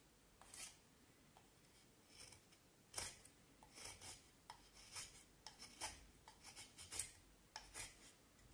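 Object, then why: Vine wood stick. A knife blade is pushed along a solid, pale vine wood stick held in both hands, shaving and scraping the wood. Quiet, dry, bright rasping strokes come in short, irregular bursts with brief pauses between them, each fading almost at once.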